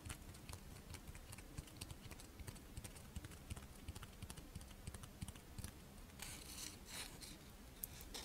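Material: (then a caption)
Rice wafer. Long nails tap and scratch the surface of a fish-shaped strawberry rice wafer monaka held up in the hands. Quick, dry, clicky taps sound steadily throughout, with a brighter, airy scratching stretch near the end over a faint low rumble.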